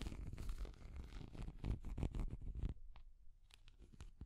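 A small translucent orange hard plastic cat figure is tapped and scratched with long nails. A dense run of scratchy, crackling taps with heavy low rumble comes first, then after about 2.7 seconds it thins to sparse, sharp, bright ticks.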